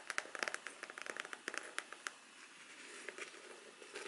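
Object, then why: Faux leather covered rigid folder. Long black artificial nails tap quickly on the cover of a large, flat, rigid black folder with a faux leather, leather-textured surface. About fifteen sharp, bright clicks come in a fast run during the first two seconds, then give way to a softer, rustling texture with a few scattered taps. Each tap dies away almost at once, with no ring.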